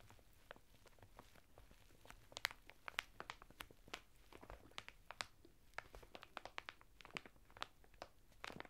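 Fingertips and short nails scratch and press the coarse woven natural-fibre surface of a flat bath mitt through its thin, crinkly printed plastic packet, lying on a table. The result is a quiet, steady run of sharp, dry crinkles and scratchy clicks with bright, high edges that stop instantly, over a faint hiss.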